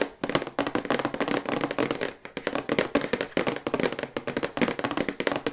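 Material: Cardboard.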